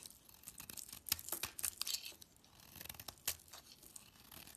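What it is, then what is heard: Soap bar carved with a knife. A solid cream-white soap bar with remnants of a purple decorated coating is held in hand and carved and scraped into flakes with a metal utility knife blade. Quiet, bright, dry scraping and crisp shaving strokes come in quick bursts with almost no low end, a few sharper cuts standing out before the strokes settle into softer scraping.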